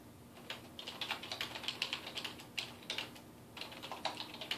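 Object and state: Plastic computer keyboard being typed on.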